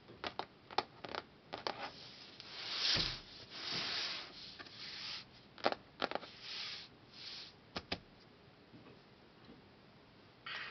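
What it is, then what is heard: Hardcover book cover tapped with fingertips. Fingertips and nails tap quickly on the glossy printed cover of a closed, solid hardcover book with a laminated cardboard board cover, making short, bright ticking sounds. Between the taps come longer, soft, airy swishes, and the sound has very little low end.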